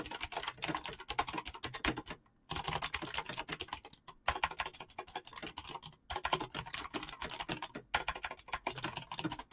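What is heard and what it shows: Fingertips type fast on a black mechanical keyboard with clicky switches and PBT plastic keycaps, making a dense stream of sharp, bright clicks centered around 1 kHz. Each keystroke decays almost instantly. The typing runs in bursts broken by brief pauses near 2, 4, 6 and 8 seconds.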